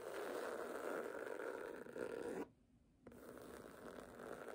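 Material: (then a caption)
Book cloth. Long nails scratch across the cover of a red cloth hardcover book lying flat, making a steady, rasping scrape centered in the low-mid range. The scratching stops for about half a second, then resumes slightly quieter until the end.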